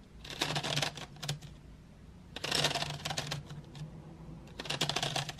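Long white nails tap and rake across painted wooden graphite pencils lying in an open metal tin tray. Three bursts of quick, dry, bright clicking and rattling rise and fall over a faint steady low hum.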